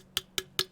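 Three light taps on an empty aluminum can, each a short bright tick with a faint ring near 375 Hz that dies away almost at once.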